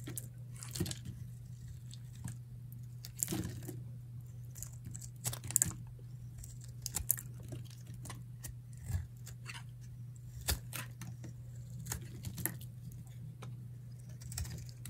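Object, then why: Bar of soap cut with a metal blade. A palm-sized, solid, dry blue Camay bar soap is held in the hand while a metal utility knife blade carves brittle flakes off it. Short, dry, crisp crunching scrapes come at an irregular pace over a steady low hum. Each cut has a bright, crackly edge.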